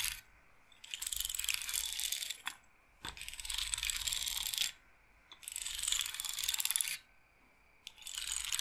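Long nails scratch and roll the beads of a wooden bead roller massager set in a wooden bead frame. The sound comes as five bursts of dense, bright clicking and rattling, each lasting one to two seconds, separated by short quiet pauses and a few sharp isolated ticks.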